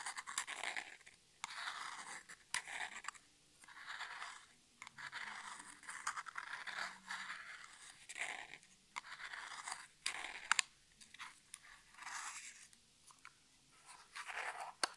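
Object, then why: Small printed cardboard box. Natural nails scratch and scrape along the printed side of a small, hollow cardboard nail polish box with one end flap open, held in both hands. Repeated bursts of dry, papery scratching and scraping come in short strokes, separated by brief quiet gaps.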